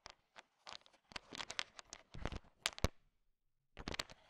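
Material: Hard candy shell.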